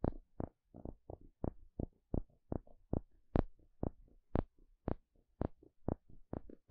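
A thin plastic pick pokes and scratches the surface of a small, flat, solid, thin wooden spatula. Seventeen short, dry taps with a low thud die away almost instantly, with faint scratchy rustles in between.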